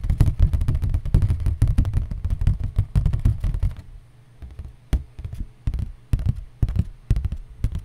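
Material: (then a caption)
Cardboard. Cardboard is tapped, first in a rapid, dense run of dull, low thuds for about four seconds, then in slower, spaced-out taps. Each tap is short and muffled, with almost no ring.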